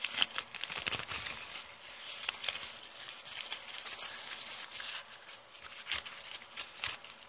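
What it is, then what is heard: Crumpled kraft paper bag. Fingers with long painted nails crinkle and scratch a thin, heavily crumpled brown kraft paper bag held close. The result is a steady, bright crackling rustle of many short, crisp snaps with almost no low end, quiet overall with a few louder pops.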